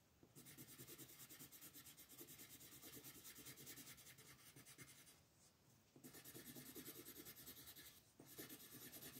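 A yellow colored pencil held in the hand shades a flat paper coloring book page printed with a mandala, the solid sheet resting on a table. Quick back-and-forth rubbing strokes make a steady, bright, scratchy hiss. The strokes ease briefly around the middle and again near the end before picking back up.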